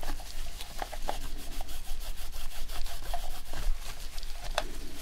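Gloved fingertips rub a microfiber cloth over the touchpad and buttons of a dirty, white, hand-sized, hollow-shelled plastic PS4 controller during a deep clean. A steady, soft, scratchy rubbing continues over a low rumble, broken by a few brief light squeaks and ticks.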